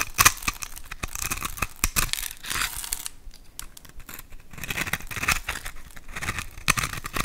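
A hand-sized, pre-scored solid bar of white soap with a silvery coating is held in the hand and scraped and carved with a metal utility knife blade, so white cubes and powder flake off. The sound is a run of crisp, bright, crumbly scrapes and sharp cutting ticks, with short, quiet pauses between the louder strokes.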